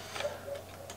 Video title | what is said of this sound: Japan Crate April 2021, Spring Season Edition - Unboxing | it sounds like a hard candy when you shake it